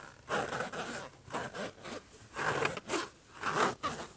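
Short nails scratch and rub across the surface of a closed silver HP laptop lid. The result is a series of rough, raspy scraping bursts with bright, hissy overtones, separated by brief quiet gaps at an uneven pace.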